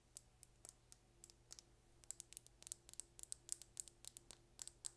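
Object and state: Plastic lip gloss tube.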